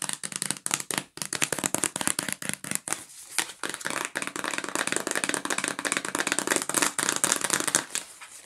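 A yellow cardboard sandwich bag box is held in the hands while fingernails tap and scratch quickly across its flat sides and edges. The result is a dense run of crisp, bright clicks and papery scratches with almost no low end and very short decay, easing off slightly toward the end.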